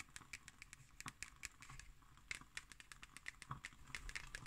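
A black hardcover paper notebook is held upright while long nails tap and scratch its cardboard cover. The result is a quick, irregular series of short, crisp, bright clicks over a soft scratchy rustle, each tap dying away almost instantly.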